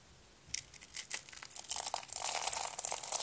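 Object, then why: Small spiral rolls of dried soap. Fingers with purple nails crush a cluster of small, hollow, blue dry soap spiral rolls one by one. After a brief near-silence, sharp, bright crunches and crackles start as separate snaps, then grow denser and louder into a continuous crinkling crunch.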